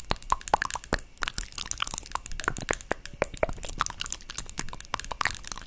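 Long nails tap the lid of a small, hollow white plastic cosmetic jar held close to the mic. A quick, irregular stream of sharp, bright clicks comes through, each with a brief hollow knock around 860 Hz that dies away almost instantly.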